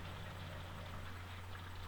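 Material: Nothing is struck.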